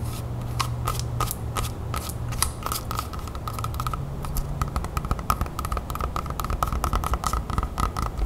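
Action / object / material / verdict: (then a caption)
tap / whole apple / apple skin / none. Long nails tap and scratch the skin of a whole, large, solid red apple held close. Quick, bright clicking taps and scratches run throughout, each with a short tone near 1.2 kHz, over a steady low hum.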